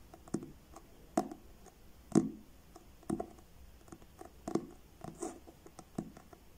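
Fingertips and short nails tap slowly on the blue card front cover of a solid, medium paperback book held upright in both hands. The soft, dull taps fall at an uneven pace, each with a short low-mid thud and a quick bright tick that dies away almost at once.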